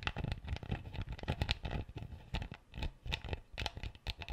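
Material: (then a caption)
Plastic. A plastic screw cap on an empty clear PET bottle is scratched and twisted with fingertips and nails. The result is a quiet, rapid run of dry scratchy clicks and crinkly rasps over a low, soft thumping body, with bright crackle on the sharper strokes.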